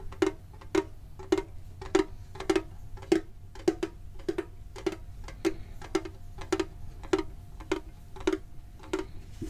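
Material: Metal.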